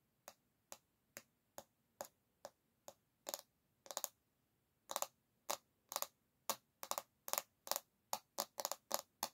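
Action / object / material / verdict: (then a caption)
tap / bamboo paddle hairbrush back / bamboo / none. Long nails tap and lightly scrape the solid bamboo back of a paddle hairbrush held by its handle, making about twenty short, dry, bright clicks spaced through the clip. Each hit dies away almost instantly, with a few doubled taps and brief scrapes bunched together, and nothing low in the sound.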